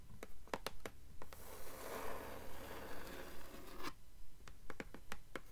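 Long nails tap and scratch on the blank endpaper inside the cover of a blue hardcover book. Quick, crisp taps open the clip, give way to a sustained dry scratching stroke, and then return as a steady run of taps.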